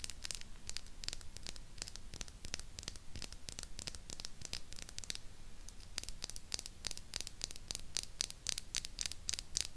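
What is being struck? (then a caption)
Small chrome-finish plastic retro microphone with grille head. Long pink acrylic nails rapidly tap and scratch the hollow grille head and body of a small, silver, chrome-plated plastic mini retro microphone held upright on its stand. The result is a steady stream of sharp, dry, bright clicks with no ring, over a low hum and faint scratchy noise, with a short pause in the tapping midway.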